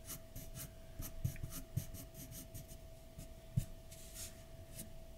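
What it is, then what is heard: Pencil drawing on paper. A graphite pencil tip, held in the fingertips, makes short scratching and shading strokes on a large white paper sheet lying flat on a dark desk. Soft, bright scratchy strokes come in an irregular rhythm, with a few sharper taps standing out over a steady low hum.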